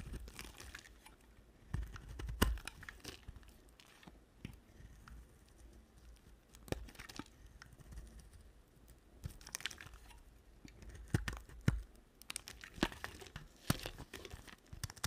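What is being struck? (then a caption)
Bar of soap. A solid two-tone bar of soap, layered cream and blue, is shaved with a utility knife blade. Soft, dry scraping and crumbly crunches come in uneven bursts, with short sharp cuts standing out over a low, muffled rumble.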